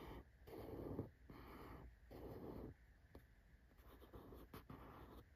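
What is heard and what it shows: A fingertip slowly scratches and taps along the printed Well.ca lettering on a small, closed, hollow corrugated cardboard shipping box. Soft, low, hollow-sounding scratching strokes come in a few longer bursts, followed by quieter rubbing and brief light taps.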